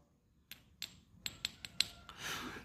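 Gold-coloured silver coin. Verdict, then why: Fake. A gold-coloured coin, a Guangdong dragon dollar, is gently tapped six times, giving short, bright, high-pitched clicks that die away almost instantly, followed by a soft rustling hiss. The sound is judged not to be gold, and the coin is deemed silver rather than the gold piece worth millions its owner believed it to be.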